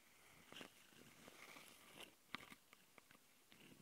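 Long nails on both hands scratch the metal-mesh X/Y mic capsules of a small plastic Tascam handheld recorder. The result is a close, soft, bright rasping texture with about six sharp scratchy ticks standing out from the steady hiss.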